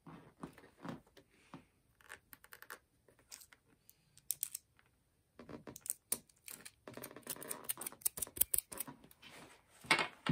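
Long fingernails scratch and tap across the textured grey rubber outsole of a platform boot. The result is a run of irregular, dry, bright clicks and scrapes with no ring, some in sparse bursts and others in denser scratching passages.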